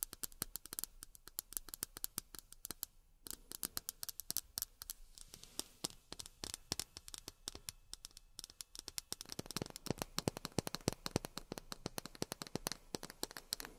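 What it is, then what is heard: Miniature plastic glasses tapped with fingernails. Long fingernails rapidly tap miniature plastic drinking glasses, making a steady stream of short, bright clicks with almost no ring. The tapping briefly pauses around the three-second mark, then grows denser and slightly fuller in the second half.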